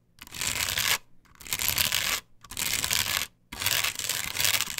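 Long pointed nails scratch and rub over a flat, solid plastic stencil sheet glued onto a wooden board. Four long, bright, hissy strokes are heard, separated by short pauses, with very little low end.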